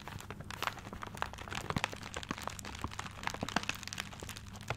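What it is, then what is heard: Paper-wrapped gift, crinkled. A paper-wrapped gift is held close to the mic while fingertips scratch and crinkle its paper. Dense, irregular crackles and crunches come in quick, bright bursts over a low steady hum, with many sharp clicks standing out along the way.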